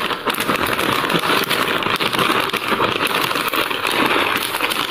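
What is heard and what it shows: A hand squeezes a medium-size printed plastic Kellogg's Corn Flakes cereal bag, full of corn flakes, with its fingertips, crinkling and rubbing the plastic film. The result is a steady, dense crackle of crinkling with a bright, hissy top and almost no low end, rising and falling slightly with each squeeze.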